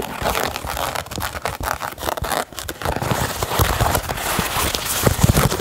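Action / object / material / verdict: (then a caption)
scrape / knit fabric sneaker upper and laces / knit fabric / none. Fingernails scratch the grey Primeknit fabric upper and laces of a hollow Yeezy 350 sneaker, making a dense, continuous crinkly scratching with crackly texture and soft low thuds underneath. The sound builds slightly louder toward the end.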